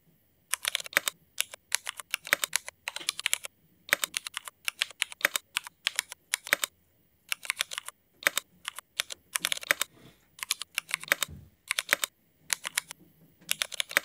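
Fingertips type steadily with both hands on a Cherry MX mechanical keyboard fitted with black ABS plastic keycaps. Quick bursts of crisp, bright, dry key clacks come in rapid runs separated by short pauses, with almost no low end and no ring after each press.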